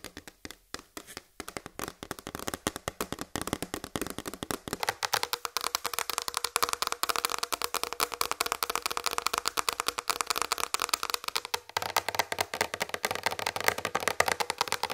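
Long red nails on both hands tap and scratch a large flat white plastic tray lying on a table. Rapid, light, clicky taps with a bright, dry tone and almost no ring blend with scratching strokes, starting sparse and quickly building into a dense, continuous patter that holds to the end.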